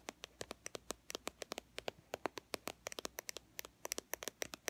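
A small white and teal plastic BB cream squeeze tube, held in one hand, is tapped and scratched along its body with long fingernails. About thirty quick, dry, bright clicks and scratches follow in an irregular rhythm, each dying away almost instantly with very little low end.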